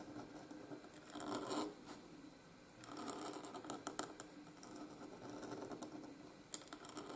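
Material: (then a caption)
Paper. A steel nib in a wooden oblique holder scratches across a flat white gridded paper sheet while writing cursive letters. Quiet, dry rasping strokes rise and fade in bursts, with a few brief, sharp ticks from the nib catching the paper.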